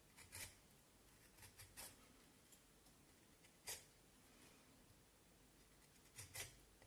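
A knife blade shaves and scrapes the surface of a solid vine wood stick with patches of bark, held in one hand, as chips fall onto the table. Short, bright, dry scraping strokes come at uneven intervals over a quiet, low hiss, each with a soft low thump beneath it.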